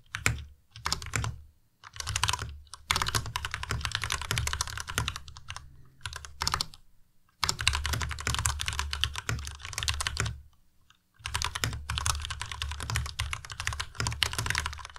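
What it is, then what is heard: Plastic mechanical keyboard typing. Both hands type with their fingertips on a white tenkeyless Ducky Miya Pro mechanical keyboard with plastic keycaps. Rapid bursts of clacking keystrokes come with short pauses between them. Each keystroke has a low, hollow body and a bright, crisp click that stops quickly.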